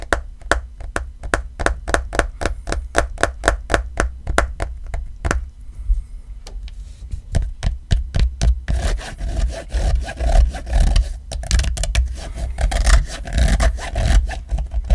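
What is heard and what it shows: Fingertips and nails scratch and rub the back of a black rubbery iPhone XR case with a grey fabric card pocket. For the first five seconds there are quick, crisp scratching strokes in a steady rhythm, then a short quieter pause. After that comes denser, continuous rubbing and scraping with a fuller, rougher texture.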